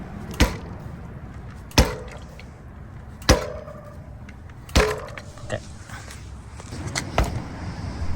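A DJI Avinox-powered Amflow PL Carbon electric mountain bike is repeatedly dropped onto its wheels to check for the mid-drive motor rattle other owners have reported, producing a series of sharp, short thumps with brief clatter. No rattle is audible from the motor; the fork is more audible than the motor.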